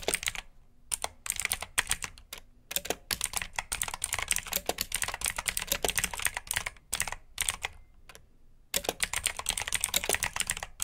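Fingertips with short nails type on a full-size black plastic mechanical keyboard with RGB backlit keycaps, clicky blue switches and hollow key housings. Rapid bursts of sharp, bright clicks and clacks come in quick runs separated by short pauses. Each keystroke cuts off almost instantly with little low end.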